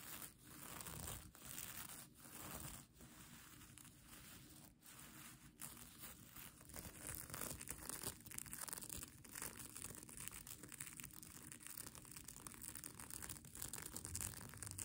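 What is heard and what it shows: Long pink nails scratch across the reversible plastic sequins of a soft-fabric mermaid tail blanket. The result is a dense, continuous crinkling, rustling and tearing-like texture with bright, high hiss. The sound swells louder in the second half.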